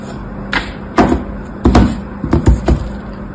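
A thin blade scores lines across the surface of a solid white embossed soap bar resting on a blue cloth. Eight short, dull scraping strokes sound out at an uneven pace, each a soft crunchy rasp over a faint steady hum.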